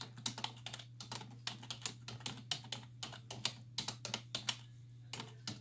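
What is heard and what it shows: Long nails and fingertips press the hollow keys of a black plastic computer keyboard on a wooden desk, typing rapid taps. About two dozen bright, sharp clicks come in quick bursts with short pauses and die away almost instantly, over a steady low hum.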